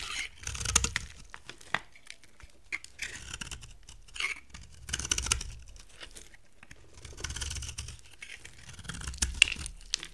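A solid, dry amber-brown soap bar is carved with a utility knife and then scratched with long nails, shedding dry shavings. Bursts of crisp, bright scraping and crunching come in uneven clusters with quiet gaps between them. Each stroke stops dead with no ring.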